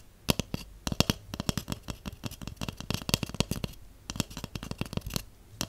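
A large, empty, hollow white cardboard tube is held in one hand and tapped with long acrylic nails and shorter natural nails. The result is a rapid, uneven run of dry, crisp clicks over a hollow, low thud, with short pauses between bursts. Each tap dies away almost instantly, with no ring.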